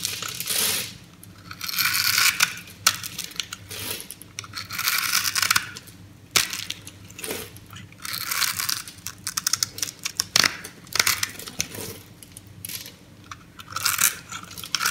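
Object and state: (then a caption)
Bar soap being cut into crumbly cubes. A metal knife blade slices the scored edge of a solid light green bar of soap held in the hand, cutting it into small crumbly cubes. Bright, crunchy crackling bursts come in repeated waves with short sharp clicks, and each cut has almost no low end and no ring.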